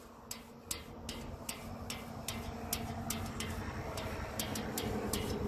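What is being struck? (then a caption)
Thin painted sheet-metal sign. Long acrylic nails tap and scratch a flat, thin painted metal park sign panel with black lettering, mounted outdoors. Sharp, bright clicks come at a fairly steady pace with short, thin metallic rings. A low rumbling background hum grows slightly louder throughout.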